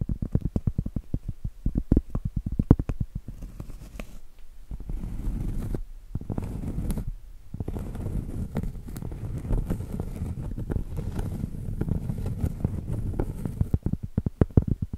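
Long acrylic nails tap and scratch the face and edge of a round, solid cork board, first held up and then turned edge-on. Quick, dull, low-pitched taps open the clip, give way to a steady soft scratching rustle with brief pauses, and the taps return at the end.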